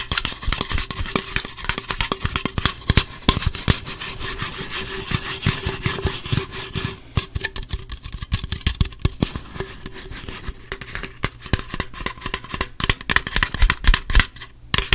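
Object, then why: Aluminum drink can. Fingernails tap and scratch the body and rim of an opened gold aluminum Pepsi can held in the hands, making a rapid, dense stream of sharp clicks mixed with bright, scratchy rubbing. The taps are short and dry with almost no ring, over a faint steady low hum.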